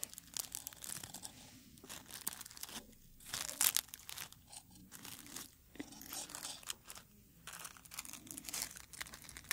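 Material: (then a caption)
Dried petals. A dried dark red rose bud is held in the hands while fingers crumple and rub its brittle petals. Dense, bright crackling and crinkling come in bursts of rustling with short pauses between them. The whole clip stays quiet, and most of the energy sits in the high range.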